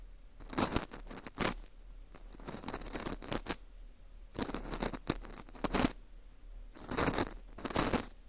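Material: Dried wheat gluten.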